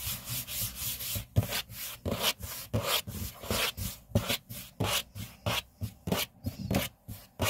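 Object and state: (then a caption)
Laminate tabletop being rubbed and scratched. Both hands rub, brush and scratch a large, flat, solid grey laminate tabletop with fingertips and short nails. The result is a series of dry, bright swishing and scratching strokes with a soft low thump under some, repeating at an uneven pace of about one and a half per second.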